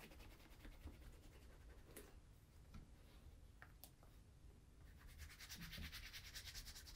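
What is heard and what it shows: A brown leather Crockett and Jones Coniston ankle boot, hollow with a shoe tree inside, is held and rubbed with bare fingertips and palm to work in conditioner. It makes soft, scratchy, repeated rubbing strokes over a low rumble, growing brighter and hissier toward the end.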